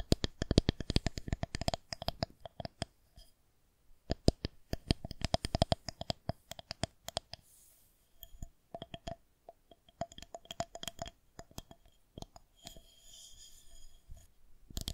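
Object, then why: Plastic rolling pin tapped and scratched with fingernails. Long green and gold painted nails tap and scratch along a white plastic rolling pin held horizontally. Quick bursts of sharp, dry clicks with almost no ring are broken by short pauses, and a soft scratching texture rises near the end.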